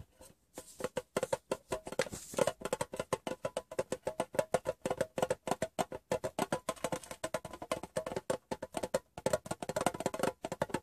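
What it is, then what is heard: Metal gum tin. Fingertips and nails tap rapidly on the bare metal bottom of a hollow, rectangular Wrigley's gum tin turned upside down. The result is a quick, uneven run of sharp, dry clicks with a hollow tinny tone around 720 Hz. Each tap dies away almost at once.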